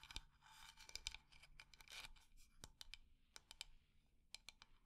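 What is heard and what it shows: A wooden decorative container is scratched across its textured surface and tapped quickly and at medium speed. Bright scratching fills the first two seconds. Sharp, dry taps follow, clearly separated, with almost no ring.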